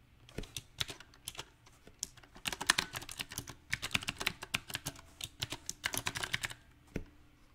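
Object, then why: Mechanical keyboard with round plastic keycaps. Uneven typing on a small 68-key backlit mechanical keyboard with round typewriter-style plastic keycaps on a silver metal plate, the keys pressed with fingertips, partly one-handed. Bright, sharp clicks with a very short ring arrive in irregular bursts and pauses, with some low thock underneath.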